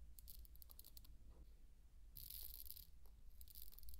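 Handfuls of dry pearl barley are scooped and poured from the palm onto a bed of grain, producing bright, dry rattling bursts of tiny grain clicks. The trickles come in uneven, scattered clusters with a denser pour in the middle, over a low steady hum.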